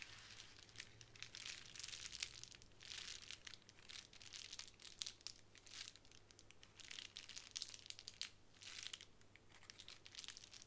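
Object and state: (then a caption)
Plastic bubble wrap sheet. Long nails scratch and tap the bubbles of a small clear plastic bubble wrap square resting on a wooden table. Quiet, bright crinkling scratches come in uneven bursts with short, dry taps and no ring, over a faint steady low hum.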